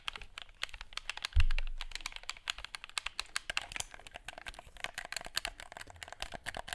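A black plastic gamepad held in both hands is worked by fingertips that quickly click its buttons and tap its casing. Rapid, sharp, bright clicks and taps come in a steady patter, with one deeper thump about 1.4 seconds in that fades away over the next second.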